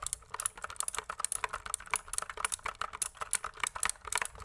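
Fingertips type quickly on a pink plastic mechanical keyboard, producing a steady run of about two dozen crisp, clacky keystrokes. Each click is short and dry, with a bright, high edge over a midrange tap and almost no low-end thump.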